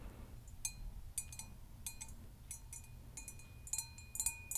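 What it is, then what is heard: Hammered copper mug. Long acrylic nails tap the dimpled side of a hollow, empty hammered copper mug held near the microphone. Quiet, bright metallic clicks with brief ringing tones come in irregular clusters over a steady low rumble.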